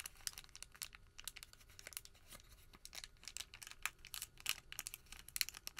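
A folded white thermal paper receipt packet is squeezed, then pressed flat on a table with the palm. Quiet, bright crinkling and rubbing crackles come in dense, sharp bursts with almost no low end, and the strongest snaps come near the end.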